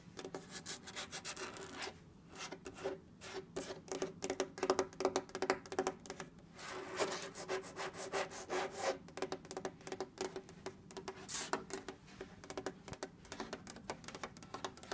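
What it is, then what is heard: Wooden table top. Long red nails and fingertips scratch and tap across a flat, solid orange wood-grain table top. The result is a dense, irregular run of dry, rasping scrapes and quick taps with almost no ring, bright in the upper range with a faint tone near 380 Hz.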